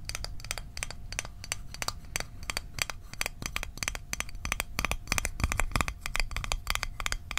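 A small, hollow, closed rectangular Altoids mint tin made of metal is held in the hands and tapped with fingertips and fingernails. The result is a fast, irregular stream of bright, sharp metallic clicks that die away almost instantly, over a low, rumbling background.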